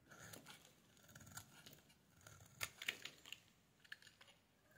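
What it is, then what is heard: Bar soap being shaved. A metal blade scrapes a solid pale pink bar of soap, shaving off thin curls. The quiet, bright scraping comes as irregular crisp crackles and brief sharp clicks over a soft hiss, each one dying away almost instantly.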